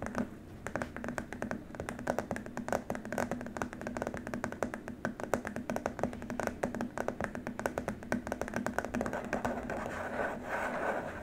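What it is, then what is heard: Plastic keyboard wrist rest. Fingertips and short nails tap and scratch across a long, flat, white rigid plastic keyboard wrist rest with rubber feet pads. A rapid, steady stream of dry, clicky taps dies away almost instantly, over a faint constant low hum. Near the end it shifts toward a softer, brushing scratch.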